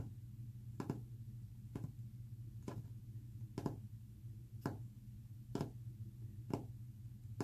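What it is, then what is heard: Fingernail taps on a painted wooden panel. Short fingernails tap a solid, flat, white-painted wooden panel seven times at a slow, uneven pace of roughly one tap per second. Each tap is a dry, brief click that dies away almost at once, over a continuous low rumbling hum.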